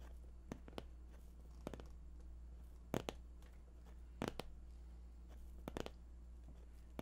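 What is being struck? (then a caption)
Cardboard box. Fingertips tap, and may lightly scratch, the top of a glossy white printed box, likely hollow cardboard. Sharp, dry taps come singly and in quick clusters, with almost no ring. They sit over a quiet, steady low hum.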